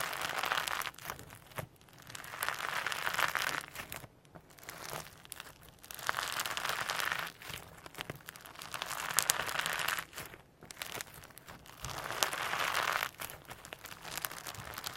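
A small mass of firm slime packed with holographic sequins is pinched, pressed and kneaded on a table with fingertips and short nails. It gives dense, bright crinkling and crackling in repeated swells of roughly one to two seconds, separated by short quieter gaps, with little low end.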